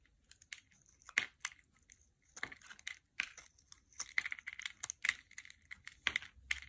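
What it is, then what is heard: Soap bar being carved. A small knife blade scrapes and carves thin curls and flakes off a solid rectangular gray soap bar with a molded dotted top and a gold foil label, held in one hand over carpet. Short, dry, crisp scraping bursts come in quick irregular strokes, bright and papery with a focused tone near 2 kHz and no low end, each stopping almost instantly.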